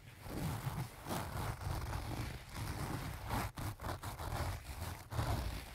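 Fingertips and nails scratch and rub the front and the top edge near the zipper of a closed, filled pink leaf-print cloth pouch. The result is a steady, soft, low-heavy rustling and scraping with little brightness, dipping briefly before picking back up.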